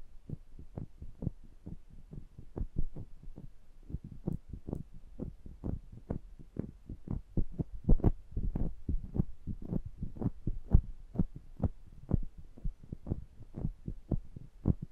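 Two small metal microphone heads are held between the fingers while the thumbs rub and press over their metal mesh grilles and rims. The result is a steady stream of short, deep, boomy thumps with a throbbing, heartbeat-like pulse and almost no high end.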